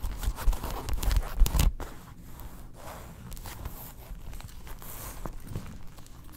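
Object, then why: Faux leather wallet. Long nails scratch the inner panels of a tan faux leather wallet opened flat, showing its card slots and snaps. A louder burst of rough scraping with low thumps comes in the first couple of seconds, then settles into quieter, steady, uneven scratching.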